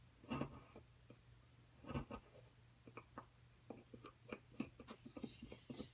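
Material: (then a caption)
Plaster. A thin metal pick scratches and digs into a solid white plaster block from a dinosaur-nest excavation kit, releasing crumbs. Quiet, dry scrapes and short taps come in an uneven series over a faint steady low hum, each dying away almost at once.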